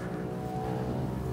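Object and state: Nothing is struck.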